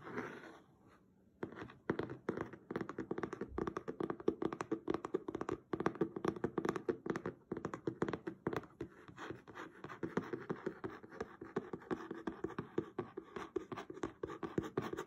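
Fingertips and short nails tap and scratch quickly across the blue patterned cloth cover of a solid, closed hardcover book lying flat on a table. After a brief quiet start, a steady stream of rapid, dry, muffled taps mixes with soft scratching. Each tap dies away almost at once, leaving a dull, mid-toned rustle.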